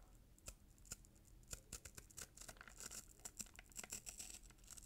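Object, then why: Paper-wrapped cardboard box with glitter ribbon. Short nails repeatedly scratch along the gold glitter ribbon and bow on a red-paper-wrapped cardboard gift box. The result is a quiet run of crisp, bright scratches and crackles with fast, dry decay.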